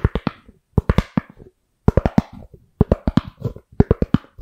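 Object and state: Styrofoam lid tapped with nails.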